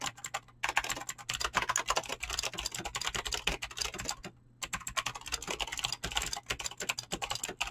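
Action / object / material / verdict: tap / mechanical keyboard with plastic PBT keycaps and clicky switches / plastic / none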